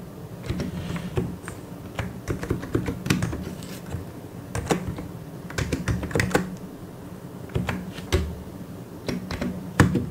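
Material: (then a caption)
Plastic. Fingertips press and tap the keys of a white and grey plastic mechanical keyboard in an irregular typing rhythm. Each keystroke is a short, dry clack that dies away almost at once, with most of the weight in the low end. A steady low hum runs underneath.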